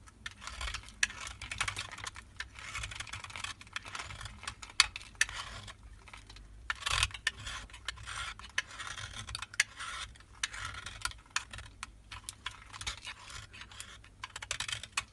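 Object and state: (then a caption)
Soap bar being scraped. A solid white Marseille soap bar is held in hand while a utility knife blade scrapes its surface into powder. Dense, bright, dry scraping and crackling continues in quick bursts throughout, with many short sharp ticks and no ring.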